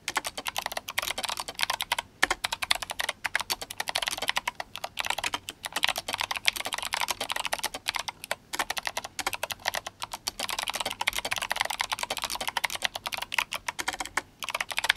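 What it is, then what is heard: Mechanical keyboard with clicky switches and plastic keycaps. Both hands type fast on an RGB-backlit GMMK Compact mechanical keyboard with clicky Kailh Box White switches and plastic SA keycaps. Dense, bright, crisp clicks run continuously with very little low end, broken only by brief pauses near 2, 8.5 and 14 seconds.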